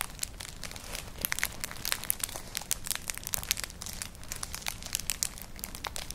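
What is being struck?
Woven straw clutch bag.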